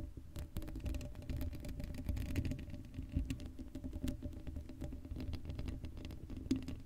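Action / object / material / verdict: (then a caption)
scrape / steel mesh microphone grille / steel mesh / none. Long acrylic nails scratch the hollow black steel mesh grille of an uncovered Blue Yeti microphone. The result is a dense, continuous patter of scratchy rasps, heavy in low rumble with a faint steady hum underneath, and occasional brighter clicks cutting through.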